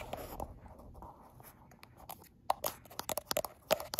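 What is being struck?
Smartphone with glass back.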